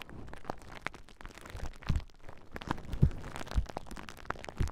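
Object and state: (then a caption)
Plastic bubble wrap being popped. A large clear plastic bubble wrap sheet is held across a pair of Rode NT5 microphones while fingertips and nails squeeze and pop the bubbles. The result is a rapid, irregular string of sharp cracks and crunchy crinkling over a bass-heavy rustle, with a few louder pops standing out.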